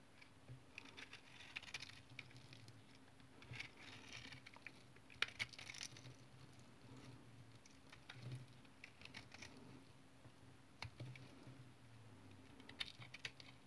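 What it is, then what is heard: Tar soap bar being cut. A utility knife blade cuts small cubes off a solid brown tar soap bar that has been scored into a grid and is held in the hand. Quiet, soft scraping and a light patter of crisp cuts and small crumbly snaps come through bright over a faint, steady low hum.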